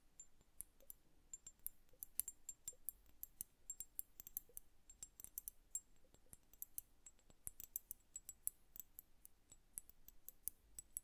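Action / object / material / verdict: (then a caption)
tap / glass liquid-filled hourglass / glass / none. Long nails tap rapidly on the lower bulb of an upright glass bubble hourglass filled with blue liquid. The taps make quiet, bright, clicky ticks that die away almost instantly, with soft clinks under a faint low hum.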